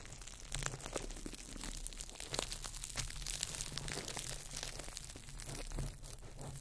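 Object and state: Crumpled plastic wrap.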